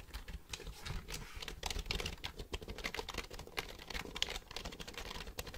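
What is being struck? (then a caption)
Plastic computer keyboard. Fingertips type on the keys of a black plastic computer keyboard held upright. A quick, steady run of dry, bright clicks and taps comes with soft low thuds under them, and each keystroke stops short with no ring.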